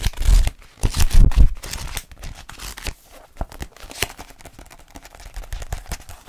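Fingertips tap and scratch the glossy cover of a small paperback French phrasebook held in both hands. The result is a dense run of dry, crinkly taps and scratches, loudest in the first second and a half before settling into quieter, scattered tapping.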